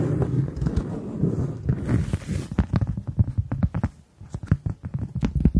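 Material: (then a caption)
Cork. A round, flat, solid cork coaster about the size of a hand is held in both hands and tapped and scratched with long acrylic nails. The first half is a dense, muffled scratching rustle, followed by a run of soft, dull, low taps with very little ring.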